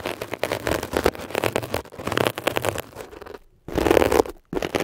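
A metal ear pick scratches quickly and roughly across a textured blue mesh-covered foam scrub sponge. The result is dense, crackling scrape bursts with brief pauses, and the loudest stretch comes near the end.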